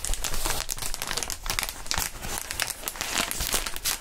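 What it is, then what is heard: Plastic air-column packaging. A clear plastic inflatable air-column cushioning sheet, hollow and air-filled, is squeezed and crinkled by gloved hands. The result is a steady run of dense, bright crackling and crinkling with soft low thumps beneath it, lasting the whole clip without a pause.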